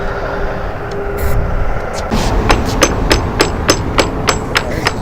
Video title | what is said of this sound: Epoxy Injection Demonstration | This is really hollow up here, clear to there.